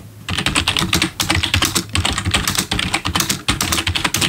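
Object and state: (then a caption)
Plastic keyboard being typed on. A full-size black plastic membrane gaming keyboard with RGB backlit keys, sitting on a wooden desk, is typed on quickly with the bare fingertips of both hands. A dense run of fast, bright plastic key taps clatters almost continuously, with a soft low thump beneath each press. Short pauses break the rapid tapping now and then.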